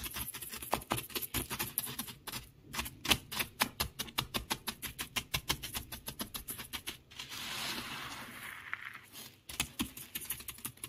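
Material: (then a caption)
Gravel. Fingertips tap and scratch across a bed of small loose beach pebbles and shell fragments, making a fast run of about 46 crisp, bright clicks. A steadier rustling scrape takes over near the middle, then the quick tapping returns.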